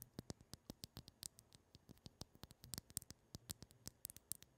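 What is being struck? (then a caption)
Liquid-filled glass facial cooling globe. Long patterned acrylic nails tap and scratch the round ball and clear glass handle of a pink liquid-filled glass facial cooling globe (ice globe), about 15 cm long, held in both hands close to the mic. About thirty quick, quiet clicks and ticks sound in an irregular patter, each with a soft low thump and a bright, glassy tick that dies away almost instantly, with faint scratching in between.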